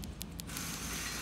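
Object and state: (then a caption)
Rocker arm trunnion with slight side play. Three light, short metallic taps on an installed LS7 rocker arm fitted with C.H.E. bronze trunnion bushings (oil-grooved, replacing needle bearings) rattle it side to side, followed by a steady broadband hiss. The rocker shows a small amount of side play even with the snap rings installed, which the kit seller confirms is normal.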